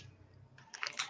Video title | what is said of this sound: SIP & SHINE : Episode 8 | shake it good you can hear it has like little balls